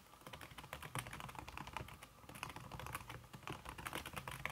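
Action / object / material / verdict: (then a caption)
tap / aluminum keyboard with silicone key cover / silicone / none. Fast typing with fingertips and red-painted nails on a slim backlit aluminum keyboard whose keys are covered by a red silicone skin. The result is a rapid, continuous stream of soft, muffled key taps with short, dull clicks and no ringing.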